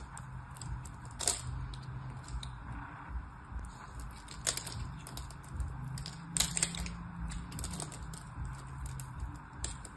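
A blade scores lines into a solid orange and white striped soap bar held in the hand, and small chips fall away. Quiet, irregular scratchy clicks and sharp bright crackles sound over a steady low rumble, with a few louder snaps standing out.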